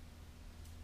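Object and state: Nothing is struck.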